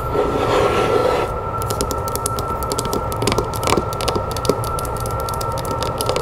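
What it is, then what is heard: Wooden log box. Long nails scratch and then tap quickly on a wooden box made from a log section, working over its bark-textured sides and top. A rough, hissing scrape opens the clip, giving way to rapid, uneven dry clicks over a faint steady hum.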